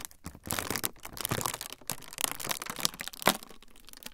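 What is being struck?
Thin frosted plastic sheet.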